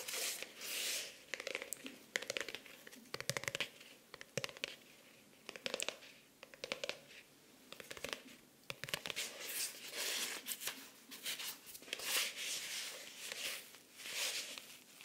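A closed, solid pink faux-leather (PU) covered hardcover notebook/planner with an orange elastic band is held in the hands and tapped and scratched on its cover with long nails. Quiet, bright, dry scratching and crisp little taps come in bursts and pauses, with almost no low end and no ring after each touch.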